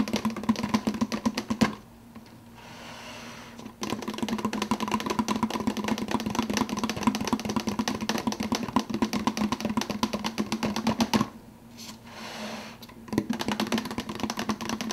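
Fingertips tap rapidly on the clear plastic lid of a large, empty plastic fountain-drink cup, making a dense stream of light, clicky taps over a hollow, low-mid resonant tone. The tapping pauses twice, from about 2 to 4 seconds and from about 11 to 13 seconds, leaving only faint, soft rustling before it resumes.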